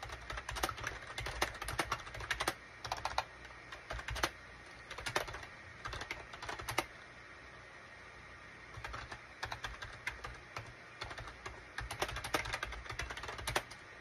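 Rapid fingertip typing with both hands on a full-size SHIPADOO K600 wired USB keyboard with a gray plastic case and cream, gray and orange plastic keycaps. Bursts of quick, crisp, clacky key taps come and go, with a pause in the middle before the typing resumes.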